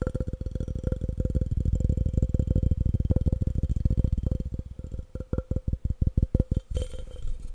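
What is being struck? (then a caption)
Glass object. A glass object is tapped fast and aggressively, giving a dense run of dull, low, thudding taps with a faint steady tone near 500 Hz. About five seconds in, the tapping thins out into more spaced, separate knocks that die away almost instantly.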